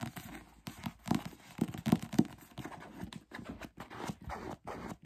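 A thick paperback novel is held in the hands while fingertips tap its cover and flip and fan its pages. The result is a rapid, irregular run of short, dry, low-pitched taps mixed with papery rustles and flutters.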